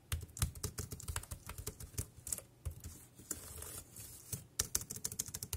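Fingertips type on a dark grey plastic wireless keyboard with round keys, producing about 25 quick, dry clicks with low thumps and bright tops. The taps come in uneven bursts, with a softer stretch of faint hiss in the middle before the typing picks back up.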